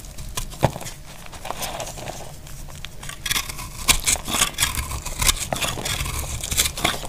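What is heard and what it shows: A small knife cuts crunchy pieces off a solid, dry blue-white soap bar held in the hand. The clip is full of dry, bright crackling and crinkling crunches with short, sharp snaps, over a steady low rumble.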